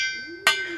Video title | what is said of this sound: Comment décalaminer son pot d'échappement moteur 2 temps | on a un gros bruit métallique. Vous voyez? Ça résonne bien. Donc là-dedans, il n'y a pas de calamine.